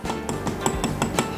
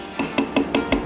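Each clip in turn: First: metal coffee grinder handle part. Second: resin coffee grinder handle part.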